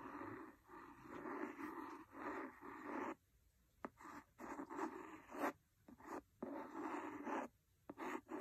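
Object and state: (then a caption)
Cloth-bound hardcover book. A wooden pencil scratches across the cover of a large, solid, red cloth-covered hardcover book in dry, rasping strokes that sit mostly in the mid-range. Then short strokes and taps alternate with brief silences, ending in a few sharp, dry ticks.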